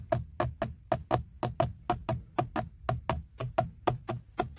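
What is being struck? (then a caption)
Molded plastic airbag cover on a steering wheel. Fingertips and nails tap and knock around the badge of a textured black plastic BMW steering wheel airbag cover, a hollow molded panel. Nineteen short, dull knocks fall at an uneven pace, each with a low hollow thump, a faint mid-range tonal click, and almost no ring.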